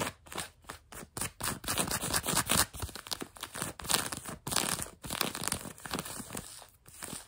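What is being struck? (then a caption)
Denim jeans over a knee. Long nails scratch grey-blue denim jeans fabric stretched over a knee, producing a steady run of dry, bright scraping and rasping strokes. The broadband, hissy bursts rise and fall in short, overlapping passes with brief pauses between them.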